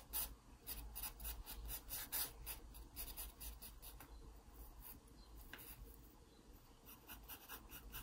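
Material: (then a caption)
Paper. A wooden pencil scratches dense shading strokes across the page of an open paper sketchbook. Quick, repeated, irregular rasping strokes make bright, papery scratches over a steady low hum. The strokes are loudest at the start, then settle into softer, continuous rubbing.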